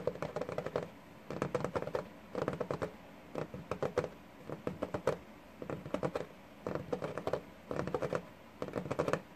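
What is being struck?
Wooden desk top.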